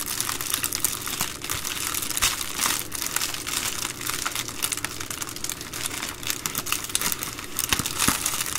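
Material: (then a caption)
Plastic. Hands with long green nails fold and crinkle the edge of an empty, flat, hollow white-and-blue Amazon Prime poly bubble mailer resting on a wooden table. A steady stream of dense, bright, crackly plastic crinkling plays throughout, with little low-end weight and a few sharper snaps standing out near the end.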